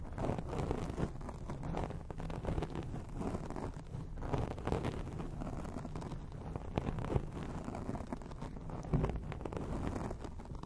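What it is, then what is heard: Foam microphone windscreen being scratched. Long acrylic rainbow nails on both hands scratch a soft, porous black foam windscreen on a round microphone. The result is a steady, dense, muffled rumble of scratching, heavy in the low end with almost no high or bright content and only small swells in loudness throughout.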